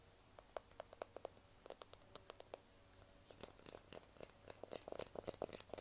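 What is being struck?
Smartphone in a plastic case.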